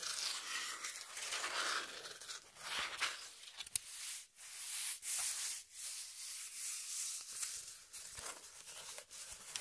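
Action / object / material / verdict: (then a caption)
scrape / corrugated cardboard sheet / cardboard / none. Long nails scratch and tap the surface of a brown corrugated cardboard piece held in hand. The result is a steady, bright, dry scraping hiss with almost no low end, broken by brief pauses and short, sharp taps.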